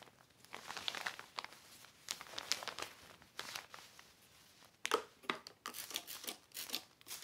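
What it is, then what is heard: Heavy plastic sheet crinkling. A black heavy plastic sheet is wiped by hand across its surface with a yellow cloth, producing bright, dry crinkling and rustling in uneven bursts. The sound has almost no low end, with sharper, louder crackles in the second half.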